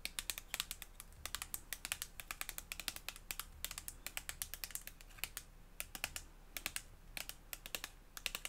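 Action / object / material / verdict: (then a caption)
tap / plastic lotion tube / soft plastic / none. Long blue fingernails tap a white, hand-sized, squeezable plastic tube of cream or lotion held close up. The result is a rapid, uneven run of quiet, bright clicks, each dying away almost instantly, over a faint low background hum.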